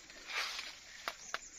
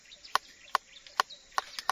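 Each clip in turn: First: Three sharp, high little ticks with no ring: a dense, firm avocado that is not yet mature. Second: Six quick finger flicks give a dull, short 'duk' around 1 kHz, the sign of a mature avocado.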